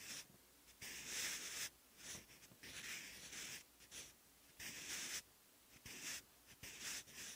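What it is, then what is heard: Pencil writing on textured paper. A sharpened wooden graphite pencil writes Korean characters on the thick, textured, lined cream paper of an open notebook. Its tip scratches the paper in bursts of bright, high hiss, separated by short quiet pauses between strokes.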